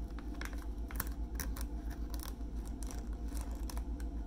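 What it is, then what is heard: Plastic wipes pack tapped and scratched. A full, hand-sized soft plastic film pouch of 40 makeup remover wipes with a hard white plastic snap lid is held in both hands and tapped and scratched with fingertips and short nails across the lid and crinkly pouch. Quick, fairly regular soft taps and crinkly scratches sound at about two and a half per second over a steady low hum.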